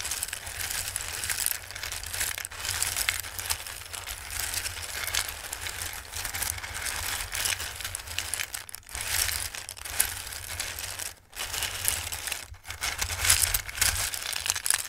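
Hands press into and stir a full bowl of dry, raw Christmas-shaped pasta, making a continuous bright, crisp rustling and crunching. The dense clatter keeps up for the whole clip, dropping out only in brief pauses near 9, 11 and 12.5 seconds over a steady low hum.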